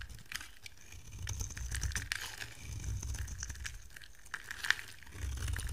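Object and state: Dry soap bar shaved with a blade.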